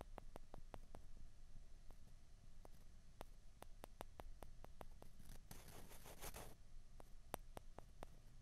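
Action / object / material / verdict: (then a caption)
scrape / two plastic ping pong balls / plastic / none. Two small, hollow, white plastic ping pong balls are pressed together and scraped against each other with the fingers. The clip is a quiet run of sharp, dry clicks with a short, bright rasping scrape near the middle, over a low background hum.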